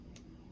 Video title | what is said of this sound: Manicurist Practical Exam - By The Nail Academy | if you hear that sound that means it's dry